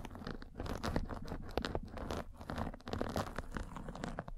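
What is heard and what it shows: A metal-spiked derma roller is rolled across a fine white fabric mesh net pulled over a microphone. It makes a steady, scratchy crunch of dense crackling with a heavy low rumble underneath and little brightness. The level rises and dips slightly as the roller moves back and forth.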